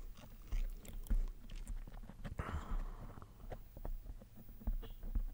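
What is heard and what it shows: Fingertips and nails of one hand scratch and rub a soft, fist-sized black foam microphone windscreen in slow strokes. The sound is a close, muffled low rumble with soft, dull scratching bursts swelling and fading throughout.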